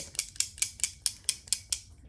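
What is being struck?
Liquid-filled bottle with a small metal mixing ball.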